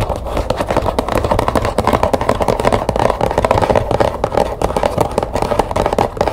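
Long nails tap and scratch rapidly along the top edge and back panel of a small, hollow, printed cardboard tea box held up in the air. The result is a dense, steady stream of quick, dry, hollow clicks over a papery scratching texture, centered in the midrange with little low rumble or bright top.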